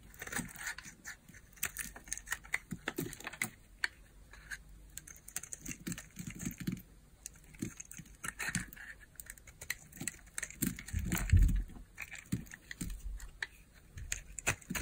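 A small solid pink bar of hard soap is held in the hand and shaved with a utility knife blade, curls and flakes coming off the edge. Many quick, crisp scraping and crackling cuts run throughout, with soft low thumps and a stronger burst of shaving near the end.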